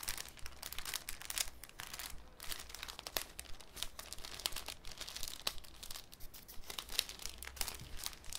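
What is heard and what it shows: A thin, clear cellophane sheet is handled with the fingertips, crinkled and folded over a wooden table. The result is a dense, irregular crackle of sharp, bright snaps and rustles, each dying away almost instantly over a faint, steady low hum.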